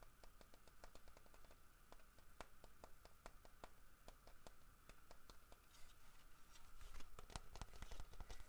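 Fingertips scratch and tap the head and ears of a large, solid carved wooden bear figurine. Quick, dry, irregular taps come through over soft scratching, a steady low rumble, and a faint constant hum. The tapping grows a little louder and busier toward the end.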